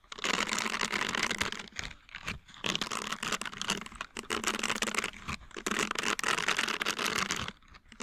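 A green flexible silicone scrubbing pad covered in short nubs is held close to a microphone while fingertips and nails flick and scratch its bristles. This produces dense, bright, crackly scratching in bursts, with short quieter gaps between them.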